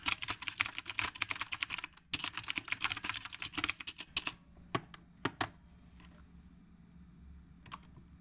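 Fingertips type on the round plastic keycaps of a retro typewriter-style mechanical keyboard, making rapid bright clicky keystrokes in two bursts of about two seconds each. The typing then thins to a few isolated, sharper clacks and trails off into quiet with one last faint tap.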